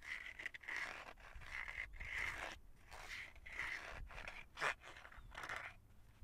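Fingertips and nails tap and scratch the back of a light blue hard plastic phone case on a small, flat smartphone held in the hands. Quiet, bright, scratchy scraping bursts, centered near 2 kHz, repeat with short pauses between them. A sharper, louder tap stands out just before the five-second mark.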